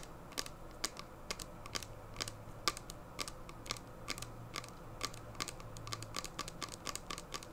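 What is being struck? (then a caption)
Small plastic hand sanitizer bottle. Long painted nails tap and scratch the sides and label of a small, clear plastic hand sanitizer bottle full of gel, held in both hands. The result is a quick, irregular run of sharp, bright clicks with a tonal edge near 1.2 kHz. Each click dies away almost instantly over a faint low hum.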